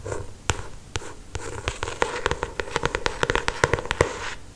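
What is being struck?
Paperback book with glossy paper cover.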